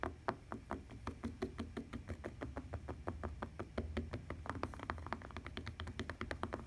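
Long painted nails and fingertips tap and knock on a lavender fabric-covered tablet case with a plastic rim lying flat on a table, with some scratching mixed in. A rapid, steady stream of short, dry clicks and knocks rings off almost instantly. A constant low hum sits underneath.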